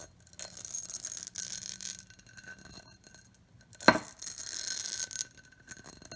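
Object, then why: Pressed glass bowl. Long acrylic nails tap and scratch along the outer wall and rim of an empty, hollow, medium-size clear pressed-glass bowl with a textured pattern. Bursts of bright, gritty scraping alternate with quiet gaps, broken by one sharp glassy clink that dies away almost at once.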